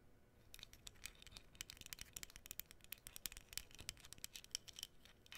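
Long nails scratch and tap the surface of a small, flat, printed cardboard menorah cutout held close, making a quick, dense run of dry, bright clicks and scrapes. The taps come rapidly and unevenly with almost no ring, over a faint hiss.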